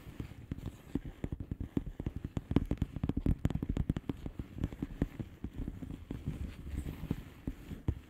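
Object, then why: Plastic bubble wrap envelope. Long painted nails of both hands tap and scratch the bubbles of a blue plastic bubble wrap mailer lying flat. A rapid, uneven stream of soft, dull clicks and light scratches sits mostly in the low range, each tap dying away almost instantly.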